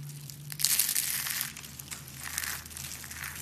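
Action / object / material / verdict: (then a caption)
scrape / shaved bar soap curls / soap / none. A pile of dry, brittle purple and pink shaved soap curls is crushed and squeezed between fingertips with long painted nails. It produces bright, crisp crunching and crinkling that is loudest in the first second and then continues more softly. A faint low hum runs underneath.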